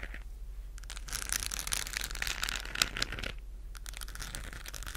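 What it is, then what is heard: Plastic globe lamp scratched with nails. A hollow, galaxy-lit textured plastic globe lamp shaped like a moon is held in both hands and scratched with long nails. The result is a dry, bright, crackling scratch with a steady low hum underneath, swelling into a denser rasp in the middle before easing off.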